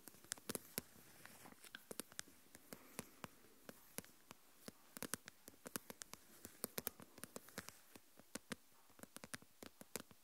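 A small translucent plastic deli tub with a lid, full of coarse salt, is played with fingernails that scratch the lid rim and tap the lid top. Around 47 quick, dry, bright clicks and taps ring out over a faint scratchy hiss, each dying away almost instantly. The overall level is quiet and close.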